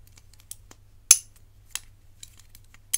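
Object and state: Metal bangle tapped with fingernails.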